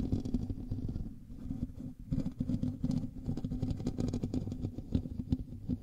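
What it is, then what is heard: Metal mesh microphone grille being scratched. Both hands scratch the hollow metal mesh grille of a black USB microphone with fingertips and nails. The result is a dense, close, muffled rustling and rumbling that sits mostly in the low range, with rapid overlapping scrapes and a brief dip in loudness near the two-second mark.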